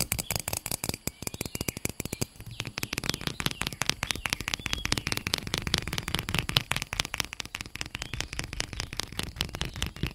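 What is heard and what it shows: A medium, hollow pink plastic bottle held close to the microphone is tapped and scratched with long painted nails. The result is a dense, rapid stream of sharp, bright clicking taps with almost no ring, mixed with a scratchy rustle throughout.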